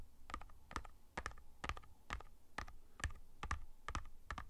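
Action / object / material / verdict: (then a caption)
tap / cardboard chip can / cardboard / none. A tall, hollow Pringles Sizzlin' can (a cardboard tube with a metal base and plastic lid) is held in the hands and tapped with fingertips and nails along its side. The result is a loose, uneven series of quick, dry taps, roughly two per second, each a soft low thump with a short clicky edge that dies away almost instantly.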